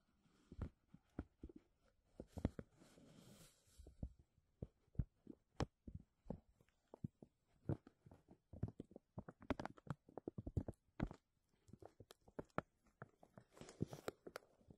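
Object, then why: Thin embossed plastic bag over a microphone. A thin, clear, embossed plastic vacuum-seal bag is draped over a metal mesh microphone dome and pressed and scratched with fingertips and medium-length nails. It crinkles in a quiet, irregular stream of sharp, dry crackles and snaps, each dying away almost instantly. Between them come a few brief stretches of softer, hissy rustling, and the sound is weighted toward low, thumpy pressure.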